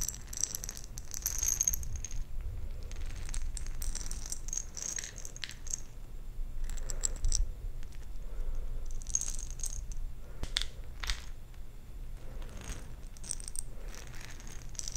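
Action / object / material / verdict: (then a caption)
shake / glass jar partly filled with small plastic beads / glass, plastic / none. A round glass jar with a metal lid, partly filled with small plastic perler fuse beads, is held in one hand close to the microphone and shaken and tilted. The beads rattle and click against the glass in repeated bright, crisp bursts, over a steady low background hum.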